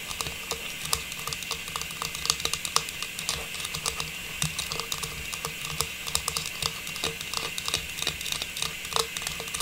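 A small, hollow, faceted silver metallized plastic star tree topper is held in both hands and tapped and scratched with long pink nails. Quick, bright plastic clicks come in an irregular run over a steady, hissy scratching rustle. Each tap is crisp and dies away almost at once.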